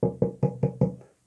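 Five evenly spaced taps on a hollow, 20 cm 3D-printed plastic Yoda figurine printed with 0% infill, close to the microphone. Each tap gives a short, low, hollow knock with a slightly woody tone and a quick decay. The zero infill leaves the figure hollow inside, which makes it sound very hollow.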